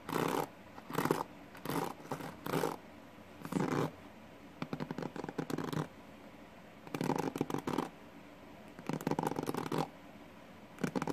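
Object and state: Plastic paddle hairbrush.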